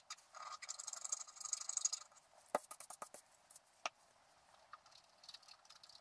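A wooden stylus scratches the black coating of a flat scratch-art card (black-coated paper), etching out a squirrel picture. A dense, bright, dry scratching runs for about two seconds, followed by sharp, quick strokes and ticks that fade into lighter, sparse scratches.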